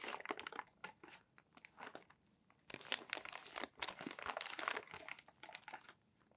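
Fingertips turn and flatten the crinkled pages of a crumpled, thinner-paper magazine stack on a desk. Bright, dry paper crackles and crinkles come in close bursts, separated by brief near-silent pauses.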